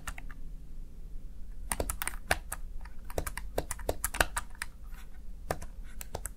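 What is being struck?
Plastic gaming keypad.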